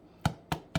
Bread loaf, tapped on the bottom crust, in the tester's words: il faut que ça sonne creux là c'est nickel